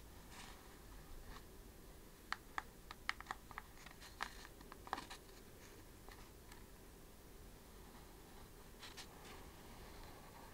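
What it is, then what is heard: Cellulose facial sponge, nails tapped and scratched. Long glossy acrylic nails scratch and tap across the porous surface of a flat, round cellulose facial sponge, apparently sitting in its case. Quiet, sharp clicks cluster between about two and five seconds over soft, bright scratchy rustles and a low steady hiss. The clip ends with faint rasping scratches.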